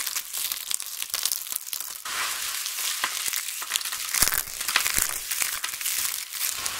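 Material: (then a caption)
Soap. Hands with long nails scoop brittle dried pink and grey soap shards from a pile and crush them between palms and fingers, letting them fall back onto the pile. A dense, bright crackling and crunching runs throughout with many quick sharp snaps, and the sound is mostly high with little low end.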